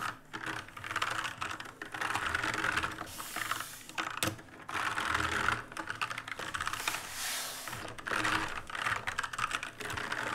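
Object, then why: Plastic mechanical keyboard. Fingers press the plastic keycaps of an RGB-lit black mechanical keyboard in a steady stream of rapid, clicky switch sounds. The clatter is bright and sharp, centered around 1.4 kHz with little low end. Each click dies away almost instantly, with bursts of faster typing between brief pauses.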